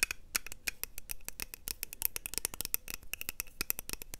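A small, round, hollow pink plastic blush compact is held close to a lapel microphone and tapped and scratched with long nails and fingertips. Quick, irregular, dry clicks and taps follow one another with no ring, mixed with soft scratching between them.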